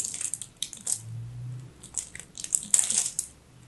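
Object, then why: Bar soap cut with a knife. A solid teal chunk of dry, crumbly soap, held in the fingers, is carved with a craft knife. The clip is full of quick, bright, dry crackling crunches with very little ring, along with a brief low hum partway through.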